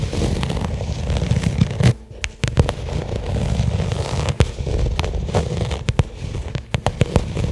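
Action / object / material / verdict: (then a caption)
tap / small flat leather case / leather / none. Long nails tap and scratch rapidly on a small, flat black pebbled-leather case lying on carpet. The result is a dense, low, muffled patter broken by sharp, bright clicks, with a brief quieter gap near the two-second mark.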